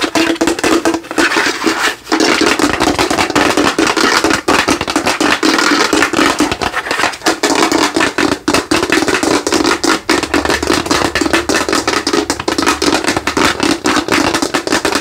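Fingertips and nails quickly tap and scratch a hollow orange plastic skull lamp lit from inside. The result is a steady, dense stream of sharp, dry clicks and scrapes with almost no ring, a faint hollow tone around 300 Hz, and bright crackly texture throughout.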